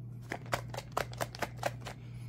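An old 2022 jar of body cream that has spoiled and curdled inside is shaken rhythmically, making a series of quick, dull clapping, sloshing thuds over a faint steady low hum. The cream has gone bad, and its contents drop to the bottom of the jar.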